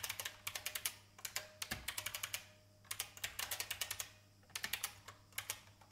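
Fingertips with red nails type continuously on a vintage beige plastic IBM mechanical keyboard resting on a wooden desk. Sharp, bright clacks come in three quick bursts separated by brief pauses, each keystroke dying away almost instantly.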